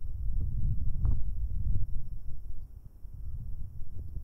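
Two fingers in rubber finger cots rub the left capsule of a pair of metal binaural microphone capsules. The result is a close, muffled, low rumbling with irregular scratchy bursts that sit almost entirely in the bass, over a faint steady high tone. The rubbing is strongest in the first couple of seconds, then drops to a softer, quieter scuffing.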